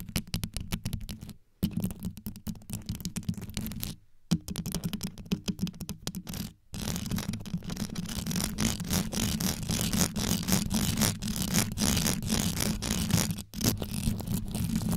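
Long yellow nails scratch rapidly around the rhinestone-studded grille of a black condenser microphone, producing dense, fast scraping and clicking with a deep, boomy low end and bright, gritty edges. The scratching comes in bursts broken by brief silences, then grows louder and more continuous over the second half.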